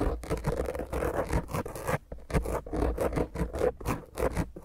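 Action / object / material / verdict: scrape / foam microphone windscreen / foam / none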